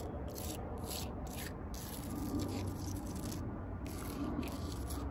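Long purple nails and fingertips tap and scratch the rough, furrowed bark of a large, solid living tree trunk outdoors. The result is a steady, low, crackly rubbing texture with intermittent bursts of bright, hissy scraping.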